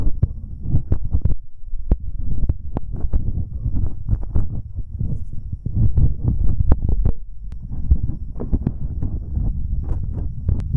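Fingertips in rubber finger cots rub and tap directly on twin metal binaural microphone capsules with red rings, set on a dark mount. The result is a dense run of deep, muffled thumps and rumbling scrapes, almost all low-pitched and boomy, with short sharp knocks scattered throughout.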